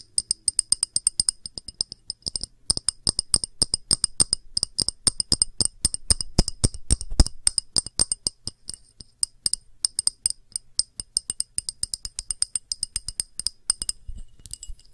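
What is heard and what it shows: Long nails tap quickly along the solid edge of a small clear glass dish held sideways. The result is a dense, uneven run of sharp, bright clicks that stop almost instantly, with a soft low thump under some of the taps.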